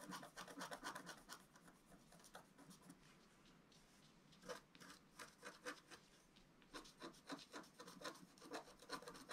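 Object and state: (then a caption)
Scratch-art paper being scratched. A wooden stylus scratches across a flat, black-coated scratch-art paper sheet in quick, dry, raspy strokes with a bright papery hiss. After a quieter stretch of softer scraping in the middle, the brisk strokes pick up again toward the end.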